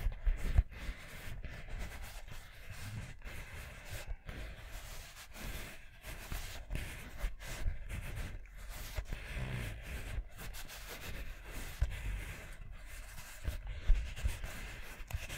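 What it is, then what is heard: Rubber mini basketball. A small, hollow orange rubber mini basketball is held close to the mic and scratched and tapped with long nails and fingertips. The result is a soft, continuous, low scratchy rumble broken by occasional sharper taps, with a faint brighter scratching texture above it.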